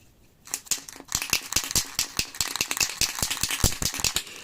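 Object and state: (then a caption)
Aerosol primer can, mixing ball rattling freely (paint mixed). An aerosol can of spray primer is shaken continuously, and its mixing ball rattles freely inside with a rapid, uneven series of bright metallic clicks after a brief quiet start. The ball moves with no sticking, showing the paint is properly mixed.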